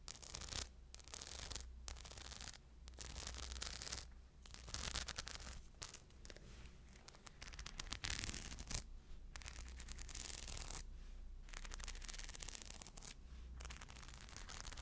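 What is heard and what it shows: Long blue nails scratch the surface of a small crescent shoulder bag fully covered in tiny rhinestones, hanging from a strap. Bursts of bright, gritty scratching and crackling come and go with brief pauses between strokes. A steady low hum runs underneath throughout.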